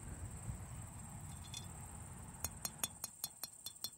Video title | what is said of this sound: Identifying Ancient Pottery (Tests You Can Do At Home) | on newer pottery, you hear that high-pitched sound? That ring to it?